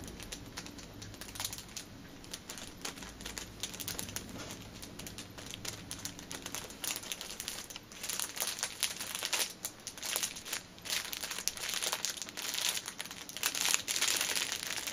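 Long nails tap rapidly on the top and sides of a six-pack of pocket tissues wrapped in clear plastic film resting on a table. The result is a dense stream of quick, bright crinkling clicks with almost no low end. The tapping grows louder and busier in the second half.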